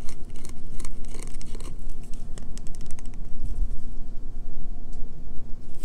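Long fingernails scratch and rub along the edge of a solid green bar of soap held in the hand. The result is a run of quick, dry scratching bursts over a steady low hum.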